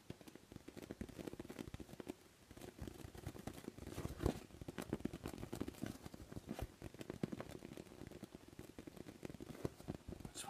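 A large orange-and-white inflatable beach ball, hollow, air-filled and made of thin PVC vinyl, is tapped and scratched with fingertips. The result is a steady stream of quiet, soft taps and dry scratching, with dull, low thumps and a few sharper clicks that stop almost instantly with no ring.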